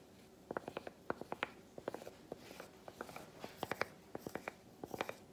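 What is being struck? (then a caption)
Milk chocolate bar tapped with a piece of chocolate. A solid milk chocolate bar is tapped with a broken-off piece of the same chocolate, giving about 23 short, dry, clicky taps in quick irregular clusters. Each tap is a quiet, mid-pitched knock with a little brightness and no ringing, over a soft background hiss.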